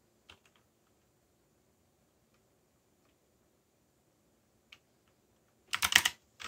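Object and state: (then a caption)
Mechanical keyboard, typing. A backlit mechanical keyboard with black plastic keycaps and a yellow backlight is typed on slowly with the fingertips. A few soft, bright key clicks come early, then a long quiet gap and a single click, before a quick burst of louder, overlapping clacks near the end.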